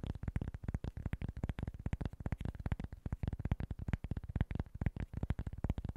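Short nails tap and scratch quickly across a small, flat cork board. The result is a rapid, steady run of dull, low thuds with a muffled scratchy texture, each tap dying away almost instantly.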